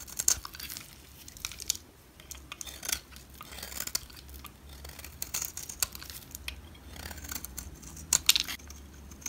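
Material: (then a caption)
Soap. A utility knife blade carves thin curls off the edge of a solid orange bar of soap held in the hand. The result is a steady run of crisp, bright scraping and shaving sounds with short crackling bursts. A few sharper clicks stand out near the start and toward the end.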